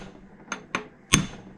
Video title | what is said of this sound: JC5 Gearbox Reassembly - Part B | can hear it bottom out